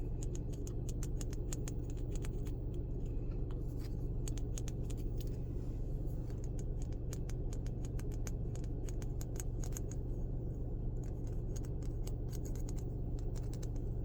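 A small wooden thumb page holder, bought from a woodworker at a craft fair and made of an unknown wood, is tapped quickly with rapid, sharp clicks over a steady low rumble. It makes a good little noise.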